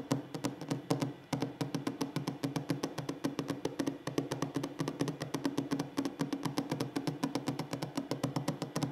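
Fingers tap rapidly and steadily on a wooden table in a relaxing ASMR session. The clip is a dense stream of short, dry knocks with a warm low-mid body, brief decay, and a faint bright click on each strike. About 65 distinct taps are heard over nine seconds, with a short pause just after the first second.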